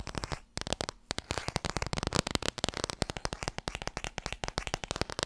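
Long red nails rapidly tap the spine and cover of a small, solid laminated cardboard board book. The result is a fast, steady stream of short, dry clicks with a bright edge and no ring, broken only by a brief pause near the start.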